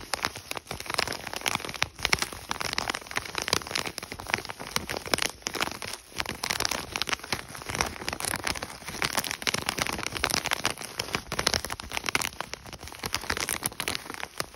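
Fingertips tap rapidly on an Idahoan mashed potato packet, a thin, flexible plastic and foil pouch. The dense, bright tapping blends with crisp crinkling of the pouch throughout.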